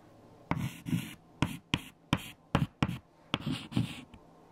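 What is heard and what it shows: Fingertips holding white chalk write numbers on a large flat black chalkboard with eraser smudges. Short, sharp taps and scratchy strokes come in quick bursts, each with a low thud and a bright scraping hiss. The bursts are separated by brief quiet gaps.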